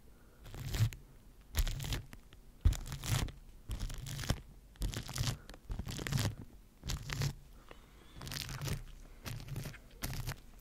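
A bristle face brush rubs across a microphone tightly covered in clear plastic wrap, making repeated crinkly, scratchy strokes in broad bursts with a heavy low rumble. The strokes come at an uneven pace, each fading quickly into near-silence before the next.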